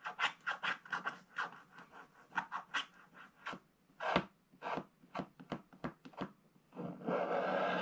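A thin wooden stylus scratches the black coating of a flat scratch-art paper page along the bottom right, while the other hand holds the scratch book flat. Short, dry, rasping strokes are heard one after another, then a longer, steady scratch runs to the end.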